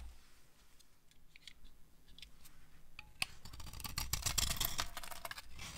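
A metal blade scrapes the gold paint and shavings off a dry Duru soap bar, solid white inside, held in the hand. Faint, sparse scratches give way to a sharp click, then a louder run of dense, crunchy, bright scraping that eases off at the end.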